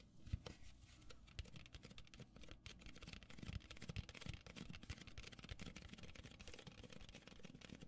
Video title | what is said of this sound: ASMR -- Tapping Cups and Pouring Soda (Fizzing Sounds) | styrofoam cup, which is a little bit more noisy